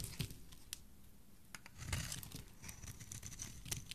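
A solid teal bar of soap, held in a hand with black-painted nails, is scraped with a metal blade. Quiet, irregular crisp scrapes and crackles come with bright, brief flicks over a low, soft handling rumble.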